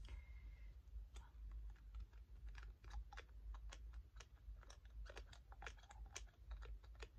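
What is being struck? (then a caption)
Small glass dropper bottle. Medium-length natural fingernails tap and click on a small, hollow green glass dropper bottle of facial tree oil with a dropper cap and white label, held close. Light, bright, irregular ticks come about once a second and die away quickly over a steady low hum.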